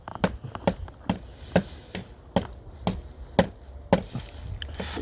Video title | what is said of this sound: (305)OnTrial.co=(305)668-7245 A Rush's Live Broadcast DrARush@GMail.com_Expert-Witness_Litigation | you hit it a couple of times. All of a sudden you hear this hollow sound.